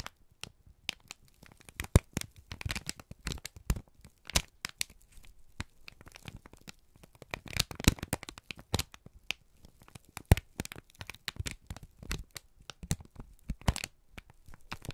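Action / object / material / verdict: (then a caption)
scrape / kraft paper sheet / paper / none. A wrinkled strip of brown kraft paper is squeezed and crinkled by both hands, making a dense run of sharp crackling snaps and rustles. The clicks are bright and short, with dull low thumps underneath, and there are no words.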